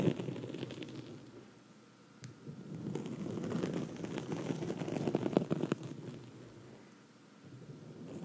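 Long red nails from both hands scratch a black foam microphone windscreen, producing a dense, muffled rustling scrape. The scratching swells louder in the middle with a few sharper crackling strokes, then fades back down.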